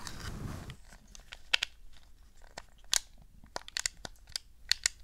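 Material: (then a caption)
Plastic. Long nails tap the analog sticks, face buttons and shell of a hollow, wired, black hard-plastic PlayStation 2 DualShock 2 controller held on a fluffy rug. A brief soft rustling opens the clip, followed by thirteen sharp, bright, dry plastic clicks with almost no ring.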